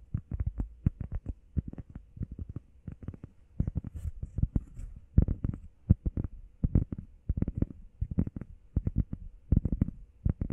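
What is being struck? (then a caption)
Foam workout pad. Fingertips and nails tap quickly on the face and edges of a grey textured foam heart-shaped workout pad held in both hands. The result is a dense run of soft, dull, low thuds in uneven bursts, each dying away at once with almost no ring.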